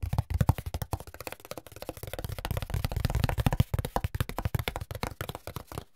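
A flat brown corrugated cardboard sheet is scratched across its ribs with fingertips, then held up and tapped with fingers. The result is a steady run of about forty quick, dull, low thuds with no ring, each dying away almost at once.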